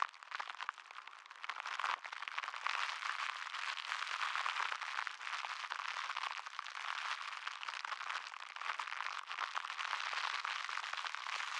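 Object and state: Plastic cling wrap being crinkled.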